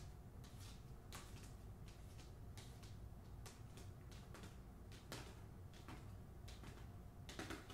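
Long fingernails tap along the spine of a hardcover book, "The Hacienda," held horizontally, its paper jacket over cardboard. The result is a quiet, irregular series of sharp, dry clicks with brief bright ticks over a steady low hum.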